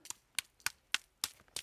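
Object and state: Hard, compacted dry soil clods.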